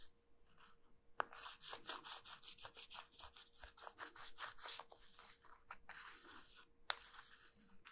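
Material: Soap.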